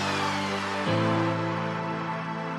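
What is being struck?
Nothing is struck.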